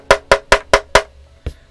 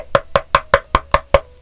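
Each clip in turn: First: thin aluminum keyboard case. Second: thick aluminum keyboard case.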